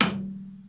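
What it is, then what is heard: Steel cutting tool seated solidly in lathe chuck. A damaged steel lathe cutting tool, held in a 4-jaw chuck, is tapped once to check that it sits flat against the chuck and the newly machined surface. A single sharp knock is followed by a short tone near 200 Hz that rings on and fades. It sounds solid, meaning the tool is properly seated.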